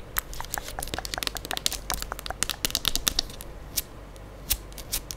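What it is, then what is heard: Plastic liquid soap pump bottle. Long acrylic nails tap and scratch the surface of a medium-size plastic pump bottle of Gold Diva moisturising hand soap, which looks full of liquid and is held in one hand beside the mic. The result is a dense run of sharp, bright, dry clicks and crinkly scratching that thins out to a few isolated taps toward the end.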